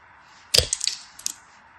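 A craft blade carves scored cubes off a solid bar of translucent yellow glycerin soap held in the fingers. A sharp, bright crunch is followed by a quick run of crisp little clicks and snaps as the cubes break free. Each sound stops almost immediately against a quiet background.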